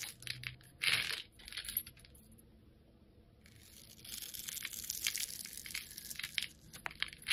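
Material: Soap.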